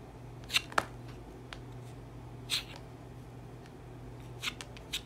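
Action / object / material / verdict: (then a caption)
scrape / bar of soap scraped with a serrated metal tool / soap / none. A solid cream soap bar, already grooved from scraping and held in the hand, is scraped repeatedly with a serrated metal tool on a wooden handle. Short, dry, bright scratching bursts come in irregular clusters over a quiet, steady low hum.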